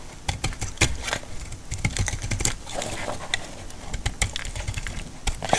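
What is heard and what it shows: A solid, dry green laundry soap bar held in the hand is cut and scraped with a metal utility blade. The clip is a rapid run of sharp, dry cracks and crisp snaps over a steady gritty scraping, with short bright clicks and a dull low body to each cut. Each crack dies away almost instantly.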